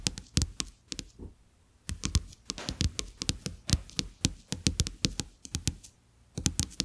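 Fingertips and short nails tap repeatedly on two thin, flat, plastic-coated paper playing cards lying on a dark surface. The taps are sharp, dry clicks with a bright edge and a low thud underneath, coming in quick irregular bursts with brief pauses between them.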